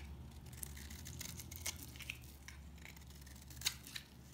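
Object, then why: Bar of soap. A blade slices brittle flakes from the edge of a solid, dry mint green soap bar, producing a steady run of bright, crisp scraping and crackling. Sharper snaps stand out here and there, over a low, steady hum.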